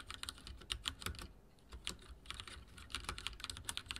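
Fingertips of both hands type rapidly on a full-size backlit mechanical keyboard with dark plastic keycaps and linear switches, resting on a wooden desk. Quick, bright plastic clacks with a soft low thud under each press come in dense bursts, with a brief lull partway through. Each keystroke stops almost instantly, with no ring.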